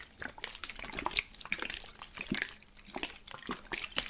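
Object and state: Spray bottle with water inside.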